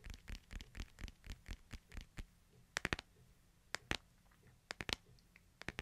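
Fingernails scratch and tap along the edges of a hand-sized smartphone in a light, hard plastic case held in both hands. A steady run of soft, brushy scratches gives way to sharp, bright clicking taps in small clusters, each dying away almost instantly over a quiet low hum.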